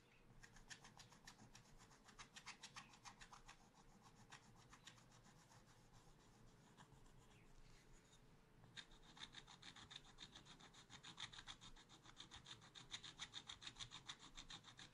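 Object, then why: Wax-coated scratch-art paper scraped with a wooden stylus. A thin wooden stylus held in the fingers scratches the black wax coating of a small spiral-bound scratch-art pad showing a monkey picture, lying flat on a table. It makes a quiet, steady run of short, bright, raspy scratching strokes, about three or four per second. After a brief lull in the middle, the strokes return firmer with a sharper high squeak.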